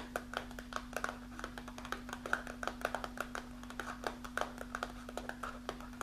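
Long nails scratch and tap on a partly full kraft paper snack pouch with a window, held in hand. A quick, uneven run of dozens of short, crisp taps and papery scratches sits over a steady low hum that runs the whole time.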